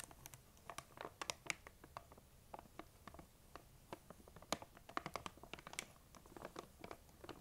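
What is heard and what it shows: Long nail tips tap and scratch the sides of a large, printed plastic M&M's candy bag that appears full. A quiet, rapid, uneven series of short, dry, bright clicks mixes with crinkly scratching, each tap dying away almost instantly.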